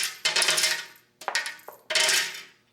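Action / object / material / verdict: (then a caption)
drop / metal coins poured from a container / metal / none. Pennies are poured out of an opened container, producing bright, high metallic jingling and clinking in several bursts. Each burst rattles briefly, then fades as the coins settle.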